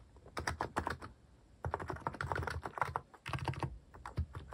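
Fingertips type fast on a cream mechanical keyboard fitted with sculpted plastic cat and paw keycaps. Quick, dense clacks with a low, rounded thock come in three bursts separated by short pauses, and each keystroke dies away almost instantly.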